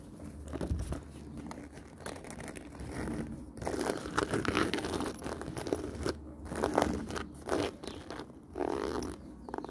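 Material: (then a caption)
Faux leather. Long nails scratch and tap across the surface of a black woven faux-leather handbag with a zip pocket and metal fittings, making dense, dry crinkly scratches and soft taps in a continuous, uneven stream. Near the end the hands handle the zipper pull, so some zipper and metal sounds may be mixed in.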